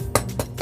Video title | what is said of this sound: English Muffins (Pandemic Baking) | you can hear that it's hollowing up inside